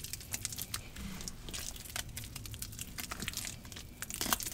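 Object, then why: Cornstarch and gym chalk paste in a plastic bowl. Both hands squeeze and crunch a green, damp paste of cornstarch and gym chalk in a large plastic bowl, fingers digging into it. The result is a dense stream of bright, crinkly crackles and crunches over a low rumble, with a sharper crunch near the end.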